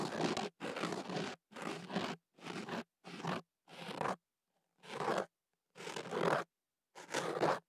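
A thin ear pick scratches and scrapes inside the open end of a hollow white kenaf paper tube wrapped around a microphone. Nine separate dry, rough scraping strokes are heard, each a fraction of a second long with brief silent gaps. They sound broadband and papery, from low rumble up to bright crackle.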